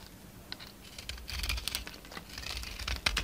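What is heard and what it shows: A solid rectangular red-coated Marseille soap bar held in the palm is shaved and scraped with a utility-knife blade, peeling off white flakes. Quick, bright scratchy clicks and crackles stack into a dry, papery rasp over a low hum, with short sharp snaps near the end.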